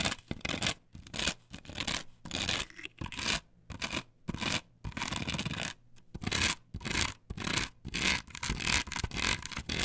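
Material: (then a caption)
Plastic. Long nails scratch in strokes across a flat, perforated plastic stencil template glued to a wooden board. The result is a run of bright, rasping scratch bursts with short gaps between them, uneven in rhythm and varying in loudness, with a faint low hum underneath.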